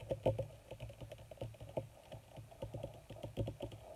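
Long red nails tap rapidly on a crumpled black leather (possibly faux) sheet. About twenty quick, dull taps sound with a low thump and a woody mid tone near 530 Hz. Each tap dies away almost at once, giving a soft, steady patter like keyboard typing.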